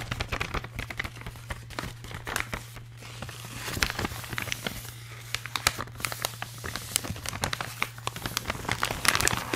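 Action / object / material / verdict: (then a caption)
scrape / metallized plastic foil bag / metallized plastic / none. An empty, hollow blue holographic metallized plastic foil bag is squeezed and crinkled by hand and fingertips. Dense, bright crinkles and sharp crackles run throughout over a steady low hum, with the crackling growing louder toward the end.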